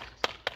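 Two knocks on ceramic floor tiles laid over insulation in an abandoned hotel built over a cave, with many tiles already broken off. Each knock gives a short, hollow click-clack with almost no ring, showing that the tiles are loose and hollow.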